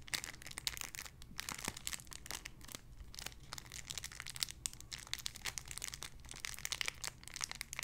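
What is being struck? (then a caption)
Clear plastic bag with squishy toy. A small clear plastic bag holding a white-and-pink squishy toy is crinkled and squeezed with fingertips and long nails. It makes a continuous, bright, dense crinkling with many sharp crackles and ticks, over a faint steady low hum underneath.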